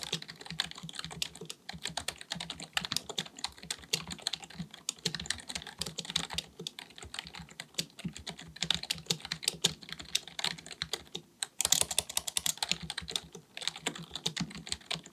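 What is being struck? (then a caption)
Plastic computer keyboard. A black full-size plastic computer keyboard resting on a desk is typed on rapidly with the fingertips of both hands. It produces a dense stream of short, dry, bright key clicks with almost no ring, broken by a few brief pauses.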